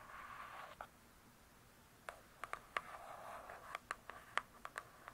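Long nails scratch across the glossy cardboard cover of a large, closed hardcover book, making a soft, hissy rasp. Twelve short, crisp taps follow, with another stretch of scratching between them. The sound is quiet and close, with bright clicks that stop almost instantly.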